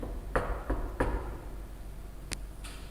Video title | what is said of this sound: IPAS Kelas 4 Tema 1 Sub Tema 1-3 " BUNYI " | pintu yang dipukul tadi adalah contoh dari benda padat.